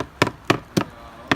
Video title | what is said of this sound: WDO inspection | It's all rotted out. There's nothing left.